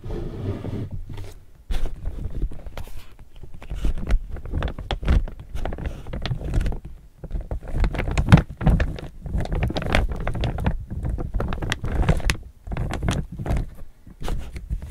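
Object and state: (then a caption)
Laminated polypropylene tote bag. Fingertips tap and scratch near the top edge of an empty chevron laminated polypropylene tote bag held upright. The result is a dense, irregular run of short crinkly taps and scraping rustles, with brief pauses between bursts. The sound is mostly low and thumpy, with little high-end hiss.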